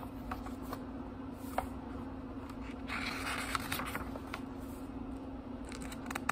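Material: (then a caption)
Paper. Fingertips turn the thin paper pages of a small, thick book, making soft rustling and crisp, bright flicks as each page slides and falls over. A steady low hum runs underneath the quiet page sounds throughout.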